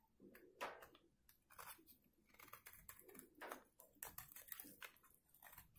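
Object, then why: Bar of soap scraped with a blade. A solid rectangular white bar of dried soap, held in one hand, is scraped with a metal box-cutter blade that pulls curls from a carved hollow in its face. Quiet, dry crunching and scratching strokes come in uneven bursts, with bright, crisp edges and little low end.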